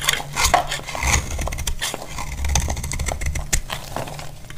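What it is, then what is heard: Dry bar soap being shaved. A hand-held blade scrapes and shaves a solid, dry orange bar of soap, and the shavings pile up. The cutting makes a steady run of crisp, bright scraping clicks over a low, dull rumble.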